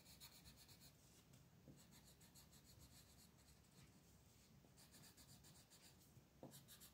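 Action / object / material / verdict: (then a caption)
scrape / colored pencil on a paper coloring page / paper / none. An orange-yellow colored pencil scratches and rubs across a flat paper coloring book page lying on a table, filling in the leaves with small strokes. The sound is a quiet, steady scratchy rubbing with a low papery rumble, broken by repeated bright bursts of rasp as the strokes go back and forth.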